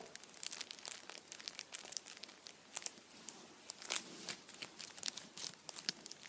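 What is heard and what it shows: A hand-sized Kinder chocolate Easter bunny, solid chocolate inside and wrapped in blue printed aluminium foil, is held lying down and squeezed and rubbed with fingertips and nails. The foil gives a dense run of quiet, bright crinkles and crackles with a few sharper snaps. There is almost no low end, and each crackle dies away at once.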